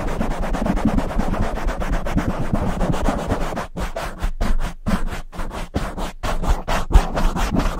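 Both hands' palms and fingertips rub and swirl over a soft, fist-sized black foam windscreen on a silver microphone. The result is a dense, low, thumpy rustling made of rapid strokes that runs steadily at first, then breaks into choppier bursts with brief silences between them.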